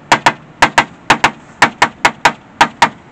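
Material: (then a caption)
Body filler. Tapping on the damaged right rocker panel of a 1999 Mégane coupé, where the paint is cracked, a magnet does not stick and the panel is almost entirely body filler with little metal left beneath. Thirteen short, dull knocks come in loose pairs, each dying away almost at once with no metallic ring. The dead sound marks the section as rotten, and it is later cut out.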